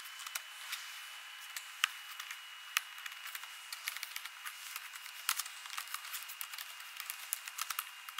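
Long nails and fingertips type rapidly on the plastic keys of an ASUS laptop keyboard. They make quick, bright clicks and taps with no low end, and a faint steady high tone runs underneath. The taps are dense and irregular, with a few sharper, louder clacks standing out.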